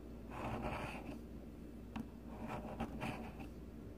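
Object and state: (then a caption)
Bar of soap being shaved. A palm-sized solid pink bar of soap is held on a mat; a fingertip rests on it, then the metal blade of a blue plastic peeler shaves its top surface. Soft, papery scraping strokes come in uneven bursts, with a couple of brief sharp ticks, over a quiet low hum.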